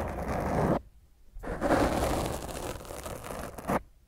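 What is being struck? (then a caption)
Foam microphone windscreen. Long fingernails of both hands scratch roughly over a black foam microphone windscreen, making a dense, muffled scraping rustle concentrated in the low and middle range with little high end. A loud scratching burst stops abruptly, then after a short silence a longer continuous stretch of scratching follows, ending with a brief final swipe.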